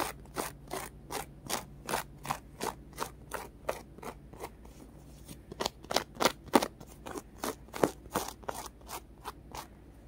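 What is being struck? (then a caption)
Polyurethane foam carrot squishy. A small, solid, orange polyurethane foam carrot squishy with a textured crosshatch surface is scratched with fingernails. About 22 quick, dry scratching strokes follow in an uneven rhythm, each a short, bright, raspy burst. A faint low hum sits steadily underneath.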